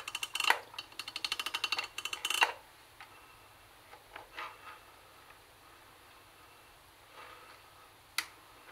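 Long nails tap on the plastic top of a CD cassette boombox, across its tuning panel and speaker grille. A quick run of bright, dry clicks fills the first two and a half seconds, then scattered softer taps follow, with one sharp click near the end. Each tap dies away almost instantly, with no ring.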